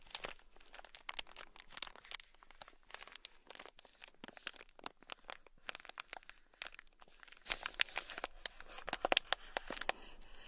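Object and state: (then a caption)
Plastic bag of gold beads. A thin black stick scratches across a small sealed clear plastic bag packed full of tiny gold beads. The result is a dense stream of quick, bright, crinkly scratches and crunchy rattles with almost no low end, growing louder and busier toward the end.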